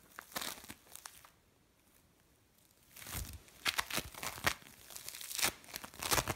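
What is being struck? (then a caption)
Bead play foam. A lump of mixed blue and orange bead play foam is squeezed and crumbled in the hands, making bright, crinkly crackles and small crunching pops. An opening burst of crackling gives way to a quiet pause, then the crumbling resumes with denser, irregular bursts of sharp, short-lived crunches.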